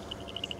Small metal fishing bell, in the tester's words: しばらく水に浸かっているが、まだ少しガタガタと音がする。